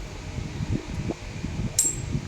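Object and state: Ringing steel machete blade.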